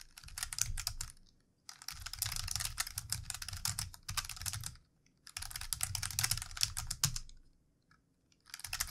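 Fingertips of both hands type on the keys of a plastic computer keyboard in rapid, repeated taps. The typing comes in bursts separated by short pauses, with crisp, bright clicks over a soft low thud from each keystroke, and a new burst begins just as the clip ends.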